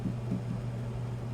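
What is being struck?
Nothing is struck.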